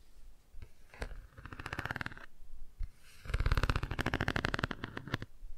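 A cardboard board book is held half-closed at an angle while long nails scratch and tap its textured car page. Two runs of rapid, dry scratching and tapping build up, the second louder and denser, with a deep, low rumble under the bright scrape.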